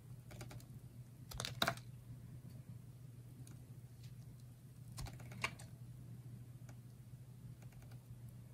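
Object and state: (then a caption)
Dry soap bar being sliced. A utility knife blade slices thin, ridged layers off a solid bar of red and yellow layered dry soap held in the hands. Short, dry, crackling cuts and clicks sound over a steady low hum, with louder crisp scrapes near the start and middle.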